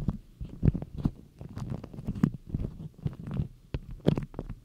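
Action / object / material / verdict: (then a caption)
scrape / beeswax-coated cotton food wrap / waxed cotton / none. Long nails pinch, scratch and rub a printed beeswax cotton food wrap folded into a cone, crinkling the stiff waxed cloth up close. The result is a quick run of soft, muffled crackles and rustles, mostly deep and thuddy with little brightness, each burst cutting off sharply.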